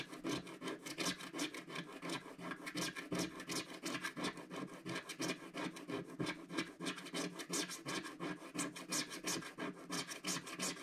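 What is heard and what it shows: A wooden stick scratches quick strokes into the coating of a flat, solid, black-coated scratch-art card page. Dry, bright scratching rasps come in a steady run of short strokes, about three per second, each ending almost at once.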